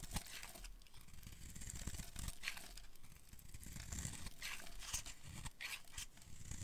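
A solid, dark green oval bar of dry soap is held in the hands and scraped and carved with a metal blade, curling off shavings. The clip is a steady run of dry, crunchy scraping and crackling with bright, hissy bursts as the blade bites, over soft low rumbling handling noise, at a quiet, even level throughout.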